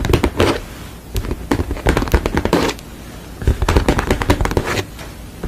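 Long, pale, manicured nails and fingertips tap and scratch across a flat painted canvas of a sugar skull lying on a table, its thin, solid, dry painted surface giving back dense, crackly clusters of short taps. The bursts come in bunches separated by brief quieter stretches, with a dull, low body and little brightness.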